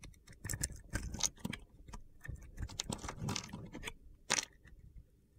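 A box-cutter blade scrapes and slices crunchy chunks off a solid light blue soap bar held in the hand. Short, crisp, gritty cracks and scrapes follow one another across the clip, bright in the highs and with almost no ring. There is a louder burst near the end.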